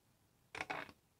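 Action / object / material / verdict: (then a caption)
drop / polycarbonate ID card dropped on a hard surface / polycarbonate / real. A genuine polycarbonate driver's license card is dropped, landing in three quick, crisp clicks with a bright, hard tone centered around 2.2 kHz and almost no low end. Each impact dies away almost instantly, and the card sounds crisp and very hard, as expected for a genuine card.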